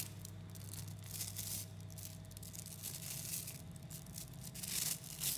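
Both hands squeeze and fold a large clump of about 11,000 small, solid 3mm neodymium magnetic balls with the fingertips, so the spheres click against each other. The result is a dense, bright crackle of tiny clicks that swells in bursts, over a steady low hum.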